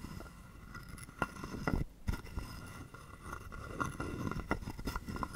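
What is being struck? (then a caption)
Carved wooden frog guiro and wooden stick. A hollow carved wooden frog guiro is held in the palm while a wooden stick is scraped quickly along its ridged back and tapped. The result is a string of short, dry, low-weighted rasps and knocks with faint bright ringing overtones, separated by brief quieter gaps.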